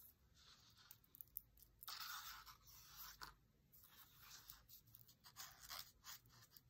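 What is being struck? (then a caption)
Paper book page scratched with a dry grass stem. A dried grass or reed stem is scratched and traced along a printed page of an open paper cookbook lying flat on a table. Soft, dry, bright scraping strokes rise and fade in quick papery rasps, with a couple of louder sweeping passes and faint tiny clicks. The overall sound is quiet and hissy, with almost no low end.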